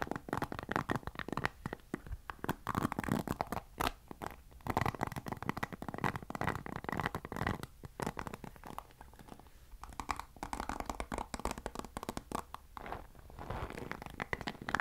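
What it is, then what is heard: Plastic paddle hairbrush. Fingers scratch the bristles of a black plastic paddle hairbrush held close to the mic. The result is a soft, continuous crackling and scratching made of dense rapid ticks, mostly in the midrange, with brief quieter pauses between bursts.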